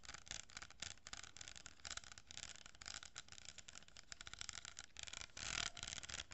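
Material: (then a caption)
Cardboard. Long painted nails scratch and rub an empty hollow kraft cardboard tube, about 25 cm long, with a row of small plastic pearl beads glued along one side, held close to the mic. The result is a steady, bright, crackly scraping made of rapid short strokes with quick ticks and little low end. It swells into a louder, sustained rub near the end.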